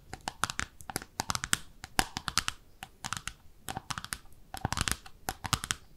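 Long nails rapidly tap the underside of a small, speckled pink ceramic soap dish shaped like a bathtub, held in both hands. The clicks are sharp, dry and bright, with a faint ceramic tone near 770 Hz. They come in quick, uneven bursts and clusters.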